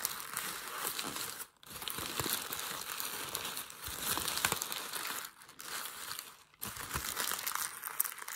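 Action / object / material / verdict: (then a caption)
scrape / thin packing paper / paper / none. Fingers scrunch and press the folds of crumpled thin grey packing paper resting on a white desk. The result is dense, bright crinkling and crackling that runs almost continuously, with brief pauses near 1.5, 5.5 and 6.5 seconds.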